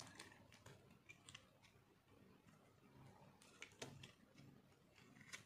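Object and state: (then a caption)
Dry soap bar being scraped. A metal knife scrapes and shaves the face of a solid, round, pink, dry soap bar held in the palm. It makes quiet, dry, crunchy scraping with sharp bright clicks and crackles scattered throughout.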